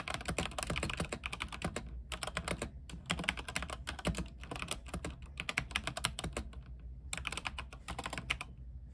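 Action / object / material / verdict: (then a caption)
tap / mechanical keyboard with plastic keycaps / plastic / none. A compact mechanical keyboard with white plastic keycaps and a silver case, lit blue, is typed on with the fingertips of both hands. Quick bursts of bright, clacky keystrokes run together, broken by a few short pauses. A low, steady hum sits underneath throughout.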